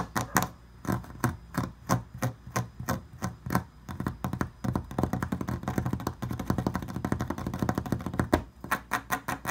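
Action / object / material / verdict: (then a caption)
tap / carved picture frame, likely wood or resin / wood / none. Fingertips and nails tap and scratch along the raised swirl relief of an ornate carved picture frame with a bronze-toned finish, mounted upright and solid, most likely wood but possibly resin. Spaced, dull, bass-heavy taps die away almost instantly, then give way to a dense run of rapid scratching and tapping in the middle before the separate taps return at the end.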